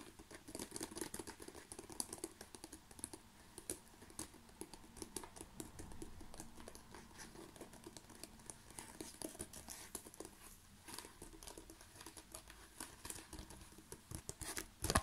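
A rolled tube of plastic bubble wrap is tapped and scratched with fingertips and nails. Quiet, rapid crinkly taps and scratchy clicks run continuously, with bright, crisp edges over a soft low rustle.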